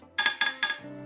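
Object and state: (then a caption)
Metal stand base. The heavy metal base of a Starlink dish stand is tapped three times, each tap giving a bright, clinking metallic ring that fades quickly, confirming it is metal.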